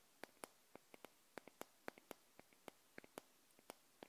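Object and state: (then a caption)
Glass candle jar tapped with nails. Long nails tap and scratch the glass neck of a small wax-filled glass jar candle held in the hand. About seventeen short, bright clicks come in a quick, irregular run, each dying away almost at once over a faint hiss.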